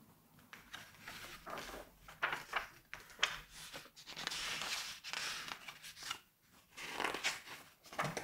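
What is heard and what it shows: Fingertips flip, turn and rub the glossy paper pages of a large 1986 Vogue magazine lying open on a white table. Quiet, bright rustles and swishes come in bursts, with longer papery rubbing sounds between the sharper flips and little low-end weight.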